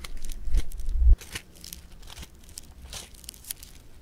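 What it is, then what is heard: Foam bead clay (floam). Fingertips and thumbs press and squeeze a solid lump of blue polystyrene-bead foam clay against a table. A louder, muffled, low squishing pressure with crackle builds over the first second, then cuts off into a quieter stretch of crisp, bright crackles and small pops.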